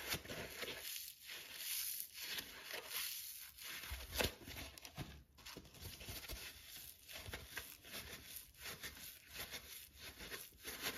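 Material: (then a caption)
Polyurethane foam. A dry, soft, palm-sized rectangular yellow polyurethane foam sponge with a green abrasive scour pad layer is held and repeatedly squeezed and squished by fingertips and thumbs, with other sponges lying untouched nearby. Each squeeze gives a quiet, dry, crinkling crackle with a bright, airy hiss, swelling and fading in steady rhythmic waves.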